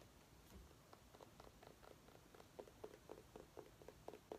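A small orange mini pumpkin held in the hands is scratched and tapped with long nails. Faint, soft scratching and light ticks give way to a steady run of short, hollow mid-pitched taps with a quick, dry decay, all at a quiet level.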